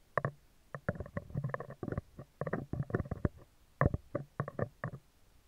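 Metal tweezers tap and scratch the side and top of a hollow spherical steel mesh microphone grille, close to the mic. A quick, irregular run of short, dry taps and scrapes sounds muffled and thumpy, with most energy low and some midrange crackle. Each hit stops at once with no ringing.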